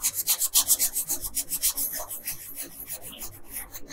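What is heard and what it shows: A yellow colored pencil, held by a hand with long pink nails, scratches and rubs back and forth on a flat paper coloring page. The bright, raspy strokes come in a quick rhythm, loudest at first and growing softer and lighter toward the end.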